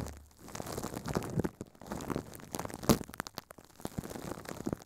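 Furry puppet hands crumple and crinkle thin clear plastic film wrapped over a microphone head. The result is a dense, uneven run of close crackling and rustling with soft low rumbles and bright crisp snaps, swelling and fading in bursts. It peaks in one sharp crunch about halfway through.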